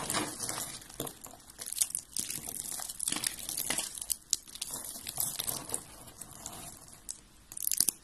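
Dry white and blue soap curls and flakes, piled on a gold glitter surface, are crushed and crumbled between fingertips with long red-painted nails. The result is a dense, bright, crisp crunching and crinkling, with many tiny sharp cracks and dry snaps that die away almost instantly.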